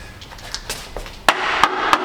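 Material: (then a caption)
Steel. The steel front chassis jacking point of an Infiniti FX35 is knocked to check whether it still holds up, since the rear rockers and jacking points are rotten. Several short, dry knocks get louder, ending with three sharp metallic raps that die away almost at once. The knocks sound like solid metal, so the front is judged to be strong.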